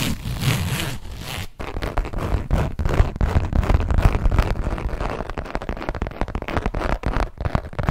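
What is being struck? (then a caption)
Textured leather zip wallet. A small, hollow hot-pink saffiano textured leather zip wallet is held and tapped and scratched with long nails. The result is a dense, uneven run of soft, dry taps and crackly scratching strokes with a heavy low thump. The texture stays steady with brief pauses throughout.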